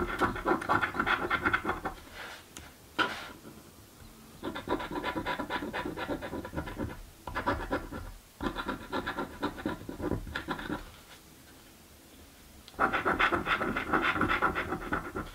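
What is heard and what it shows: A coin held in the fingers scrapes the silver coating off a thin card "Mystic Riches" paper scratch-off lottery ticket lying on a table. Bursts of dry, raspy scratching come in quick repeated strokes, broken by short quiet pauses between passes.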